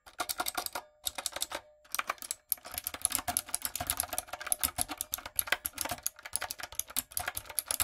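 Fingertips and long nails type continuously on a light-up, typewriter-style retro mechanical keyboard with round plastic keycaps. Rapid, bright, crisp clicks and clacks come in quick bursts, broken by a couple of brief pauses near the start. Each keystroke is short and dry, with almost no low end.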